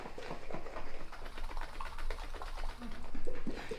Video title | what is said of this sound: “Butter” | you can hear it sloshing it around right we poured it in here as a liquid